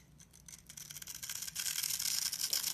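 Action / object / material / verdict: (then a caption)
scrape / bar of soap / soap / none. A hand-sized, rectangular solid bar of black-and-white striped soap, held in the hands, is scratched and crumbled at its top edge with long red-painted nails and fingertips, so shavings flake off. A dense run of bright, dry scratching and crumbly crackles builds steadily louder through the clip, with almost no low end.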